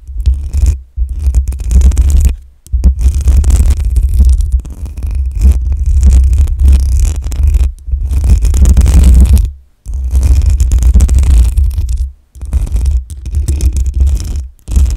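Long acrylic nails scratch and tap on the hollow metal mesh grille of a black USB microphone. The result is a heavy, booming low rumble with scratchy crackle on top, arriving in long bursts separated by brief silent gaps.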